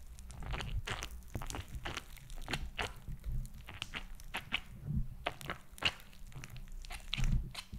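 A palm-sized, flat, purple glitter gel/silicone squishy toy with raised pink bead spheres is held over the mic and tapped and scratched with long acrylic nails on the beads and gel surface. Rapid crisp taps and crunchy scratches sound in quick irregular bursts over a steady low rumble, each click dying away almost instantly.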